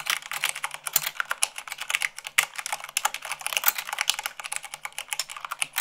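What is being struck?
Plastic mechanical keyboard.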